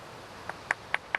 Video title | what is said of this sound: *Ray Mears* Wild Food part 2 | if it's a good piece it should have a real crystal sound like that that means there aren't so many flaws in the Flint